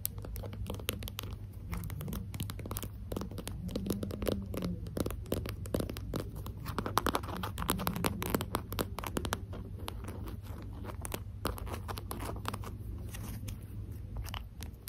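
A small translucent pink plastic lip gloss tube is tapped and scratched along its length with long acrylic nails. Dense, quick clicking taps mix with scratchy scraping throughout, over a steady low hum.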